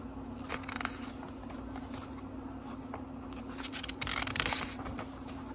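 Fingertips turn and rub the thin paper pages of a small, thick book, producing soft, crisp rustles and brief papery swishes. The sound rises and falls over a faint, steady low hum, growing a little louder and brighter toward the end.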